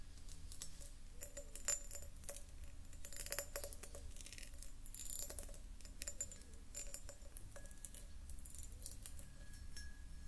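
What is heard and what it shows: A medium-sized, hollow, empty clear pressed-glass jar is held and turned in the hands while long nails tap and scratch its ribbed sides and star-cut base. Quiet, rapid, bright glassy ticks and scratchy rustles come in clusters, each tap dying almost at once. A steady low rumble sits underneath.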